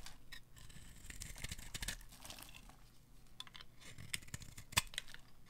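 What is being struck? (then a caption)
Bar of soap scraped by a metal blade. A metal blade scrapes and carves thin curls from a solid, dry white bar of soap held in a hand with long manicured nails, the shavings falling away. The scraping is dry and crackly, with bright, papery rasps over a low steady hum and one sharper crack near the end.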